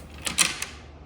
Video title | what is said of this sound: The JDM Acura Integra Gets a Spoiler!!! | if I shake this about, yeah, you can hear the nuts in there